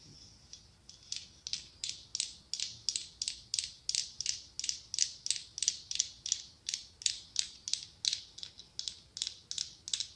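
Long acrylic nails quickly tap and scratch the mirrored glass mosaic tiles covering a hollow pumpkin. About 29 short, bright clicks with a faint scrape follow each other at a steady but slightly uneven pace, each dying away almost at once, with no low-end body.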